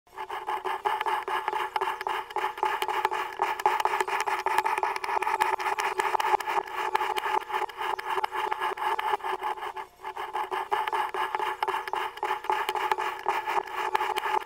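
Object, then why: Block of kinetic sand cut with a metal knife. A metal kitchen knife with a floral-printed blade and pink handle is pushed down repeatedly through a hand-sized moulded block of orange kinetic sand on a white surface, slicing it into thin layers that crumble and fall away. A steady, gritty scraping and crunching with a mid-range body runs throughout, with a brief pause near the ten-second mark before the slicing resumes.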